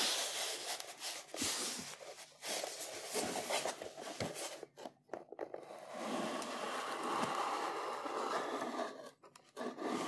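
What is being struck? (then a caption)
Small corrugated cardboard box. Fingertips rub and tap the flat sides of a small, closed, hollow brown corrugated cardboard box with a printed label, holding a Sigma 100-400 tripod collar. The contents are not visible. Dry, bright scratching and scraping runs almost continuously, with soft, hollow taps and brief near-silent pauses around the middle and near the end.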